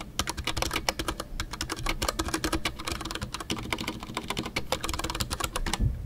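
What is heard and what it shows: Fingertips type continuously on a full-size Ducky One 2 mechanical keyboard with a white case, MX Brown switches and custom PBT plastic keycaps. The result is a steady, rapid patter of short, crisp keystrokes with bright clacks over a soft low thock, and each press dies away almost instantly.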